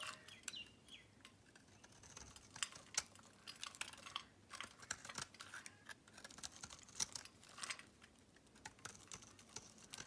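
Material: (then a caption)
Soap. A metal blade shaves crumbly flakes off a solid pink Camay bar soap, producing a quiet, steady run of crisp, bright scraping clicks and crackles. Each tick is short and dry with almost no low end, and the scraping continues in uneven bursts throughout.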